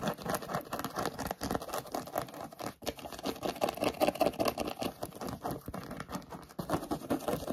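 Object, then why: Suede sheepskin boot. Short nails quickly scratch and rub a hollow grey suede-like sheepskin-style boot with sparkly dots. The result is a fast, irregular, dense patter of dry scratches with a warm midrange body and little low or high end. Each stroke dies away almost at once.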